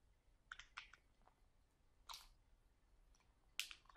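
Fingertips squeeze a full, sealed plastic package of sauerkraut resting on a table and scratch its plastic with the nails. The result is short, quiet, bright crinkling and crackling bursts, scattered irregularly with near silence between them.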